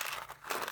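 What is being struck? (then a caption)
Dry pinto beans in a bottle. Dry pinto beans in a bottle are tilted from one side to the other, giving a short, crisp rattling hiss. Two bright bursts are split by a brief quieter dip as the beans slide and settle.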